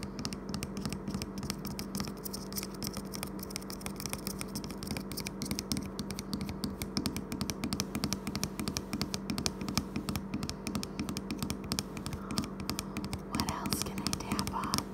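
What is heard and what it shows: Fingertips and nails rapidly tap and scratch the glossy printed strawberry label of a large, about 120 ml plastic e-liquid bottle, partly full of amber liquid and lying on a wooden table. The result is a dense, fast stream of short, dry, hollow clicks and scratchy taps that die away almost instantly, over a faint steady low hum.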